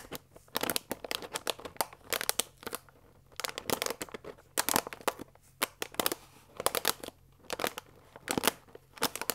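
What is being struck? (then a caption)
Paper pasta bag with plastic window. Long nails scratch and rub across a full paper fusilli bag lying flat, moving over both the paper and its plastic window. Dry, bright crinkles and scratchy rasps come in quick bursts separated by short quiet gaps, with almost no low end and no ringing.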